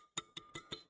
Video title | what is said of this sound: Some Basic Concepts of Chemistry One Shot - Class 11th Chemistry Chapter 1 HSC Board - Vanshika Mam | तो टन में करके आवाज आती है। Ringing sound.